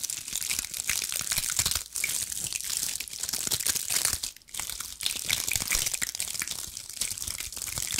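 A cluster of small, dry pine cones with woody scales is scratched and squeezed with long acrylic nails, producing dense, bright crackling and crunching with almost no low end. The scratching runs nearly continuously for about eight seconds, easing briefly near the 2- and 4.5-second marks.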